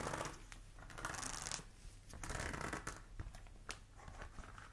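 A flat, thin, solid pink silicone heat-resistant mat, about hand-sized with a wavy ridged texture, is held up in both hands and tapped and scratched with long acrylic nails. Quiet, dry scratching and rasping sweeps mix with soft, short taps that die away almost instantly, ending with one sharper tap.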